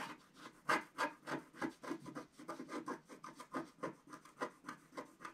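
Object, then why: Black-coated scratch-art paper scraped with a wooden stick. A wooden stick scrapes larger areas of the black coating off the stocking on a flat scratch-art paper sheet. About 16 short, dry rasping strokes repeat at a quick, uneven pace. Each is a quiet, papery midrange scratch with almost no low end that stops abruptly.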